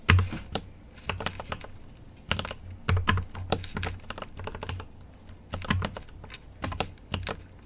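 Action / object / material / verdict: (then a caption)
tap / mechanical keyboard with plastic keycaps / plastic / none. A GMMK Pro mechanical keyboard with an aluminum case and plastic keycaps is typed on with the fingertips. Quick, irregular bursts of sharp clacky taps come with short pauses between them, each with a low thock underneath and a bright click on top.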